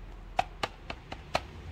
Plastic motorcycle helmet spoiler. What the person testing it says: dari bunyinya nyaring kedap